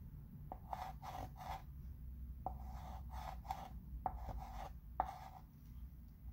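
A chalk pencil traces letters across the surface of a flat wood-framed chalkboard while the other hand holds the frame. Scratching, rubbing strokes come in short bursts with a steady midrange tone, punctuated by brief sharp ticks, over a low background rumble.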